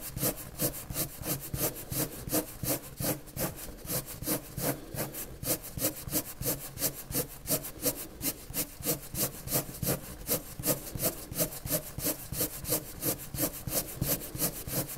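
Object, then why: Colored pencil on paper sheet. A hand draws repeated strokes with a purple-white colored pencil on a large flat sheet of white drawing paper. Quick scratching, rubbing strokes come in a steady, slightly uneven rhythm at about three per second. Each stroke has a bright, hissy edge over a soft low rasp.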